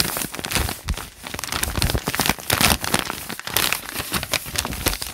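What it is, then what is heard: Paper notebook pages. Fingertips rub and scratch the crinkled pages of a thick open notebook with lined white paper. A dense, continuous run of bright crinkling and crackling rustles with quick scratchy bursts, and the level rises and dips steadily throughout.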